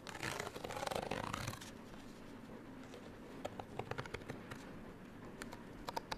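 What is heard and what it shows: Long nails scratch the surface of a small printed paper card hang tag that is folded open and held in both hands. A dense, bright, papery scratching fills the first second and a half, then the sound drops to a quiet hush broken by sharp, dry ticks and short scrapes.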